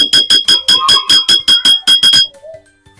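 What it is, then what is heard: Glass bottle holding a little water. A bottle holding the smallest amount of coloured water is tapped 11 times in a quick, slightly uneven run, each tap giving a bright, short ringing tone around 3.3 kHz. It is the first bottle in a comparison with bottles holding more water, showing that different water levels give different sounds. A faint, quiet sound follows after the tapping stops.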